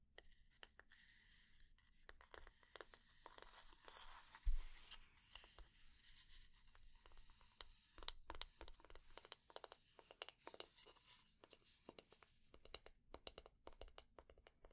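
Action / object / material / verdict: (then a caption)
tap / wooden spatula / wood / none. A wooden spatula is tapped at slow and medium speed and scratched for ASMR, giving many quiet, sharp clicks that die away almost at once. Dry scratching rasps run between the taps over a low, steady background hum.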